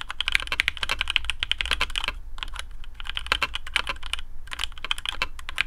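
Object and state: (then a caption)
Mechanical keyboard with PBT keycaps. Fingertips of both hands type quickly on a black custom AARU mechanical keyboard with TTC Speed Silver switches, PBT plastic keycaps on a carbon fibre plate and a hollow case. The result is dense, bright, short clacking keystrokes with brief pauses near the two- and four-second marks, over a steady low hum.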